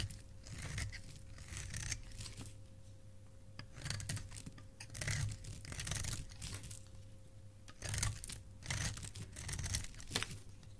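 A solid white bar of soap, held in the hand by fingers with dark nails, is scraped with a metal blade into shavings. Quiet, bright scraping and crinkly tearing strokes repeat in uneven bursts, each fading quickly. A steady low hum and a faint constant tone run underneath.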